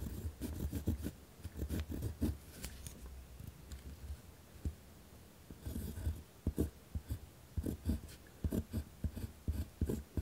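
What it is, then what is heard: Pen writing on a paper notepad. A hand writes with a ballpoint or gel pen on a thick pad of white lined paper with a torn spiral edge, lying on a wooden desk. The pen tip scratches across the paper in quick bursts of low, dull strokes, with a quieter stretch near the middle before the scratching picks up again.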